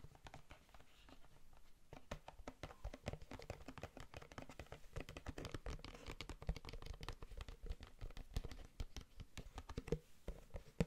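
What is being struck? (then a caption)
Plastic food container. Fingertips and nails rapidly tap and scratch the sides of a large, empty, translucent plastic food container that is held hollow in both hands. The result is a dense, continuous patter of short, dry clicks and scrapes with a soft, hollow low thump beneath them. The sound stays quiet throughout, with occasional slightly sharper taps.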